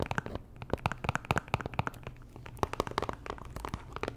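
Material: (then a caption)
Cardboard. Long nails tap and scratch a small pink Chanel cardboard perfume box, hollow and likely still in its plastic wrap. Quick, sharp clicks and crinkly scratches sound over a faint low hum. The taps dart in clusters, with a brief quieter stretch near the middle.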